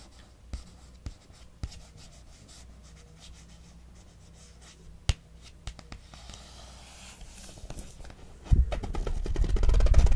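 Long nails and fingertips tap and scratch the glossy card cover of the paperback novel "It Happened One Summer," a solid book lying on a knitted blanket, first on the front cover and later on the back. Sharp, scattered taps sound over a quiet, low background, then a louder, steady scratching builds toward the end.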